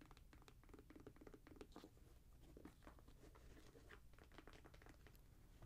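A grey Jordan Flight 45 high-top sneaker of suede and mesh, hollow and empty and held in the hands, is tapped and scratched by long nails across the upper and the tongue logo. Quick, soft, dry taps and scratches patter continuously at low volume, with a dull low body and little brightness.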